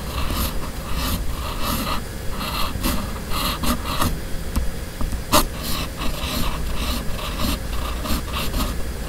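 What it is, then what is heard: Steel pen nib writing on paper. A steel fountain pen nib on a red pen, held in the fingers, writes cursive across a flat white sheet of paper. The nib gives a continuous dry scratching, rising in bright, raspy bursts with each stroke in an uneven rhythm over a steady low background rumble.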